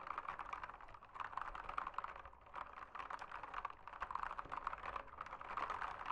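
Fingertips type rapidly on a backlit full-size mechanical keyboard with plastic keycaps, resting on a desk in a dim room. A continuous stream of quick, dry clicks and clacks centers around 1 kHz, with bright edges and almost no low end. Each keystroke dies away almost instantly, and brief pauses break the dense rhythm.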